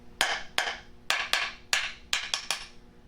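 Knocks across the problem area of a ceramic floor tile after an adhesive injection produce eight sharp, bright taps with short ringing decays. The tile still sounds hollow all over this area.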